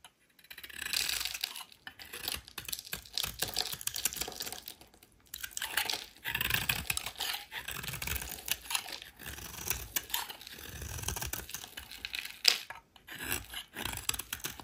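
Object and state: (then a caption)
Soap bar being shaved. A solid, rectangular, embossed white soap bar is held in the hand and shaved with a metal utility knife blade. It makes dense, crisp, bright scraping and crackling strokes in bursts, with short pauses between passes.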